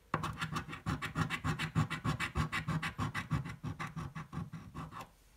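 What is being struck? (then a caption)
Paper scratch-off ticket scratched with a coin. A coin scratches the play area of a thin red paper scratch-off lottery ticket lying on a table. It makes a quick, steady series of short, gritty rasping strokes, roughly three per second, with a low scraping body and some bright grit. The scratching stops and the clip ends in near silence.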